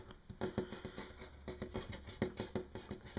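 Fingertips and nails of one hand tap quickly on a large, solid, flat wood-grain wooden tabletop. About fifteen short, dull knocks with a low-mid body land in an uneven patter, each dying away almost at once.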